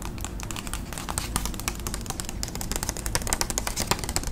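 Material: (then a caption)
Paper. Long acrylic nails tap rapidly on a flat, thin white paper envelope held up close. The result is a dense stream of short, crisp clicks with bright papery edges over a steady low rumble, each tap dying away almost at once.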